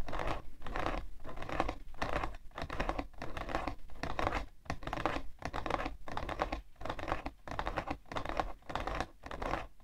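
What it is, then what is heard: Cardboard tissue box. Long nails scratch and tap rapidly on the side panel of a hollow, printed cardboard tissue box. The result is a dense, dry, papery scratching and pattering that comes in quick bursts separated by brief pauses, with short, non-ringing hits and a hollow low body.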